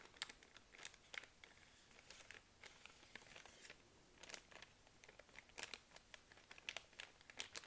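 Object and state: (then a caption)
Plastic wet wipes pack. Long nails tap and scratch a full plastic film pack of baby wipes while a hand crinkles it and then picks it up. Quiet, crisp, high-pitched crinkling and short sharp taps come in quick irregular bursts, each dying away almost instantly.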